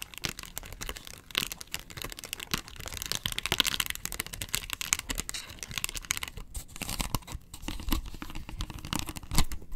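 Long nails scratch across the face and rim of a hollow, round yellow plastic box lid. The result is a steady, dense stream of fast, dry scraping and crackling that is bright on top, with a hollow low thud underneath, in many short strokes with no pauses.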